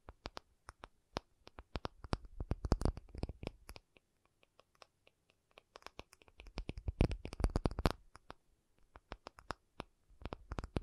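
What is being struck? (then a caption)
Acrylic object. An acrylic object is tapped with fingers in rapid, irregular bursts of short, dry clicks and knocks that stop almost instantly, with soft low thumps under them. The tapping thins out to a few isolated taps around the middle, then picks up again into dense clusters before the end.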